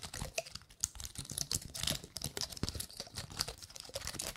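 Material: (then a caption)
Pine cone. Long nails flick and scratch the scales of a gold-painted pine cone. The result is a quick, uneven stream of dry, bright clicks and crinkly scrapes with almost no ring. Brief louder snaps stand out along the way.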